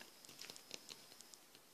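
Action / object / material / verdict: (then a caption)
tap / small diecast metal model gun part / diecast metal / none. A diecast metal (not plastic) gun part from a Millennium Falcon model kit is tapped. Quiet, very short, bright ticks, mostly above 2 kHz, with a faint ring; they sit close to the background and are hard to make out.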